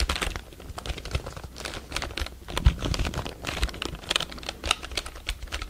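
A full-size black plastic computer keyboard is held upright by the microphone while fingertips tap and press its plastic keys. The result is a rapid, irregular run of short, dry clicks, each with a bright edge over a low thump, and no ring after the taps.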